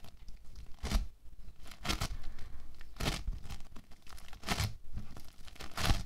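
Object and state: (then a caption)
Foam bead clay being squeezed. A large solid lump of orange foam bead clay is squeezed, pulled apart and kneaded by both hands with the fingertips, then pressed flat. It gives a steady run of dry, crackling, tearing crunches, with sharper bright bursts each time the clay is pulled or pressed.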